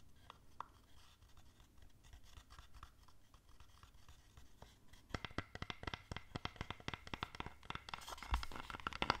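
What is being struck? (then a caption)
Small open wooden box. A small, hollow, open wooden box, a stamp set holding stamps and an ink pad, is held in the hands and tapped and scratched on its sides with long nails. Soft, scattered scratching and light clicks give way about halfway through to louder, sharper, rapid nail taps with crisp, bright attacks and almost no ring.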